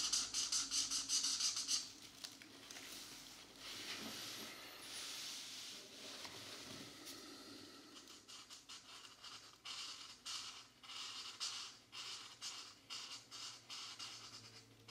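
A marker tip rubs and scratches across a thin paper coloring book page as geometric shapes are colored in. It makes a bright, hissy scratching that starts with dense strokes, then settles into a steady rhythm of short, quick rubs.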